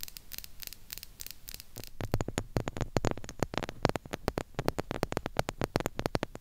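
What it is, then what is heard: Chrome-plated plastic mini microphone, nail tapping and scratching. Long pink nails from both hands tap and scratch the sides of the hollow grille head on a small silver, chrome-plated plastic mini retro-style microphone. The first two seconds are bright, scratchy rasps; after that come rapid, crisp taps with short, dull low thumps over a faint hum.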